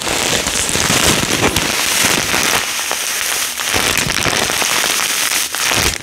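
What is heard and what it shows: A full clear plastic bag of small yellow polystyrene foam beads with a cardboard header is held and shaken by hand. The beads give a steady, bright rustle and patter, like light rain on a surface, with a few sharper crackles over the six seconds.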